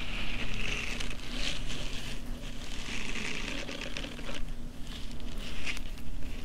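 Long painted nails scratch across the rows of soft silicone bristles on a pink silicone facial cleansing brush pad held in both hands. Dense, crackly scratching and patter run throughout, with brighter rasping bursts over a steady low rumble.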